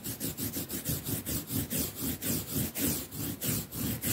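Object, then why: Quilted cotton mattress cover. A hand scrubs a soft, padded quilted cotton mattress cover with a plastic toothbrush in fast strokes. The result is a steady run of rapid, rhythmic scratchy rubbing swishes, each stroke a soft low rustle with a bright bristly hiss on top.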